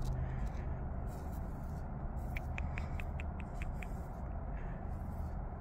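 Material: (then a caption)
Stone. Fingertips and nails tap and scratch the rough surface of a large, solid natural rock outcrop with patches of moss and lichen, outdoors. A quick run of short, dry, bright ticks sits in the middle of the clip over a steady, heavy low rumble that fills the whole recording.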